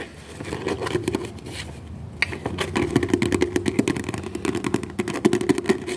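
A small, thick book with a dark blue cover and cream paper pages is held in both hands while the thumb and fingertips riffle and flip through its pages. A soft papery rustle builds into a dense run of quick, crisp flutters and taps with a mid-range papery body and bright edges, growing busier and louder toward the end.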